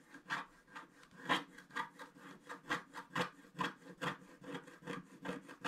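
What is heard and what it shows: A wooden stick scratches the coating of a flat black wax-coated scratch art paper card near its bottom center. It makes about sixteen short, dry, rasping strokes at an uneven pace of roughly two per second. The scratches sound bright and gritty, with a tone near 1 kHz, and each one fades almost instantly between strokes.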